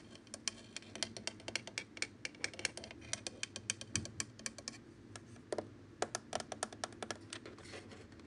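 Fingertips and short nails tap and press the rubber/plastic keypad buttons of a black plastic Nortel office desk phone, with a hollow body, display and handset, and also touch the handset. Dozens of short, sharp, bright clicks come in quick irregular runs with a brief pause in the middle. Each click dies away almost at once over a faint low hum.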